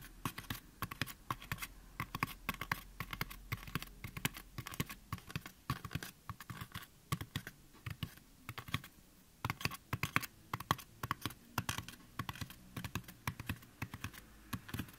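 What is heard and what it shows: Fingertips of both hands tap and scratch the upper sides of a white, life-size, solid styrofoam mannequin head, away from the ears. Rapid, dry, irregular taps with soft low thumps and bright clicky edges mix with light scratching. Each stops instantly with no ring, like quiet keyboard typing.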